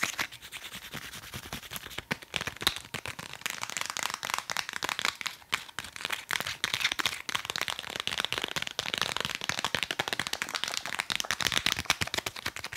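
A nail file is tapped quickly and steadily for about 13 seconds, giving a dense stream of sharp, dry clicks. The taps are bright and high, with almost no low end, and each dies away almost instantly.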